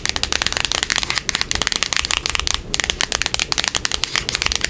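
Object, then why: Small printed cardboard box. A small, closed, hollow printed cardboard box is held in the hands and scratched and tapped on its face and edge with long acrylic nails. Fast, crisp, bright clicks and scratchy ticks come in dense bursts with very little low end. Each tap dies away almost instantly, with a couple of brief pauses in the run.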